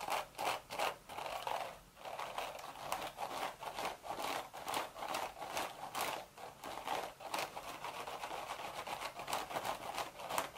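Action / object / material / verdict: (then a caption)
scrape / woven straw hat / straw / none. Long red nails scratch the woven crown of a cream straw hat with a hollow crown. The result is a rapid series of dry, raspy scratching strokes, centered in the midrange with bright, crackly edges. The strokes come in short bursts with almost no low end and little ring after each one.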